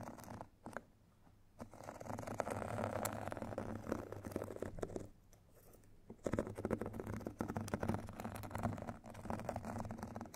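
Two thin metal sticks scratch and tap the white fine-grit side of a rectangular foot file with a foam core. The result is dense, gritty scraping with a low, muffled body and crisp ticks, broken by brief quieter pauses before the scratching resumes.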